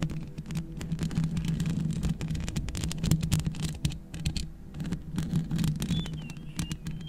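Long red nails scratch and tap fast and continuously, with both hands, on the hollow metal mesh grille of a black microphone. The result is a dense, steady patter of crisp clicks over a low, full hum that centers around 160 Hz.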